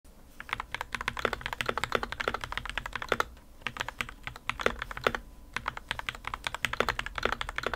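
Both hands rapidly type with their fingertips on the plastic keycaps of a small 60% white plastic RK61 mechanical keyboard, modded with lubed switches and a solid case fill, resting on a desk mat. Bursts of quick, crisp key presses with very short decay come in runs, broken by brief pauses around the middle.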